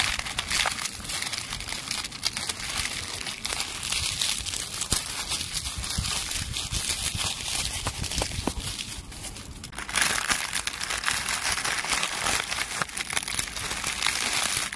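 A handful of dry brown leaves is crushed and crinkled in the hand in front of a tree trunk. It makes a dense, continuous crackling and crunching that is bright and mostly high-pitched, easing slightly just before ten seconds and then growing louder again to the end.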